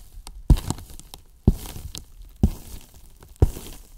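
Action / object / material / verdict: tap / hollow polyethylene foam box / polyethylene foam / none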